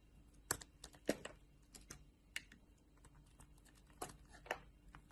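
A metal utility knife blade shaves thin, translucent slices off a solid oval blue bar of soap held in the palm. Each cut makes a quiet, crisp scrape or click with a bright edge, coming in irregular bursts that die away almost at once. Faint, low background noise sits between the cuts.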